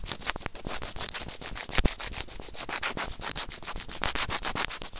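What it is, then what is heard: Plastic earphone microphone remote scraped with tweezers. Serrated plastic tweezers repeatedly clamp and scrape a small, hollow, white plastic earphone inline microphone remote. A rapid, steady run of short, bright, hissy scratching strokes follows one after another, with occasional sharper clicks and a faint low thump beneath.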